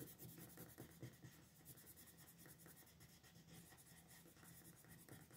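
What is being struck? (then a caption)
Wooden colored pencil on a thin paper sheet over a desk. A pink colored pencil with a wooden body is rubbed in shading strokes over a thin paper coloring sheet lying flat on a desk, with the other hand resting on the sheet. The result is a quiet, steady scratchy rubbing with a soft low body and a faint bright grain on top, swelling slightly with each back-and-forth stroke.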